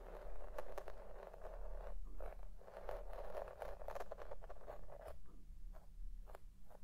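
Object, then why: Synthetic shag carpet combed with a plastic pick. A white plastic pick comb scratches back and forth through deep-pile red shag synthetic carpet while the other hand rests still on it. The result is a steady run of soft, brushy scraping strokes with bright fibre rustle above a low, constant hum.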